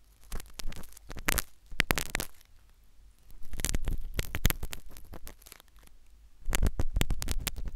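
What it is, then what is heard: Silicone ear microphone scraped with metal needle. A metal syringe needle scrapes inside the ear canal of a solid, white, soft silicone ear replica on a binaural microphone. Close, scratchy scraping comes in bursts of sharp crackles and clicks over a deep, muffled rumble, with quieter pauses between flurries.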